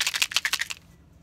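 A small plastic restaurant container, filled to the top with rabbit snack pieces and closed with its lid, is shaken to call a rabbit, who comes running at the sound. A quick run of bright, dry rattling bursts comes through in the first part of the clip, followed by near-silence and the start of another rattle at the very end.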